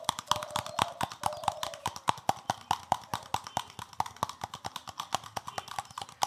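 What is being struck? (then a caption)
Plastic scrubbing brush with stiff bristles. A palm-sized green plastic scrubbing brush with a solid back and stiff plastic bristles is scratched and tapped rapidly with fingertips. The result is a fast, steady run of sharp, dry clicks with a hollow plastic tone around 770 Hz. Each click dies away almost at once over a faint bristly scratching.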